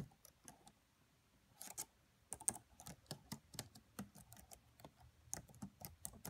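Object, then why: Laptop plastic keyboard. Fingertips with long nails type on the black plastic keys of a red laptop keyboard, producing 24 quiet, quick, bright taps with a soft low thump under each. The taps come in uneven bursts with a brief pause, and each one dies away almost instantly.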